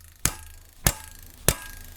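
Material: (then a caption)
Steel. A steel Atrim cutlass/dussack from Kingston Arms is tapped three times, each giving a short, dull knock that dies away almost at once instead of ringing. The hilt has come loose, with the guard and possibly the pommel no longer tight, likely because shock from rising cuts that failed to cut through bottle targets compressed the wood of the hilt.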